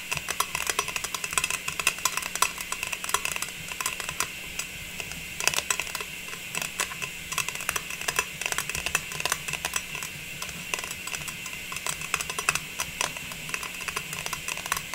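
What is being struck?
Metal tin lid.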